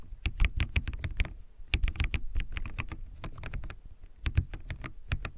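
Fingertips type quickly on a backlit plastic mechanical keyboard with white plastic keycaps, producing fast, crisp tapping clicks. The taps come in bursts with brief pauses, each one short with a deep low thump under a bright click.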